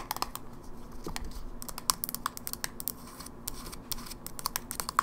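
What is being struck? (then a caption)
Plastic handheld game console. Long nails rapidly tap the back panel and edges of a closed, silver plastic Game Boy Advance SP held upright, its small hollow body giving a quick run of sharp, dry clicks. Each tap is bright and brief with a light hollow knock around 1.1 kHz, dying away almost instantly over a quiet hiss.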